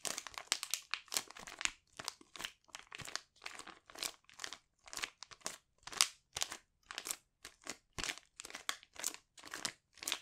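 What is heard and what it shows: A sealed, palm-sized silver metallic foil pouch with a sheet mask inside is held in both hands and crinkled and squeezed with fingertips and short nails. The result is a steady run of bright, crisp crinkles and crackles, mostly high-pitched with almost no low end, separated by brief silences.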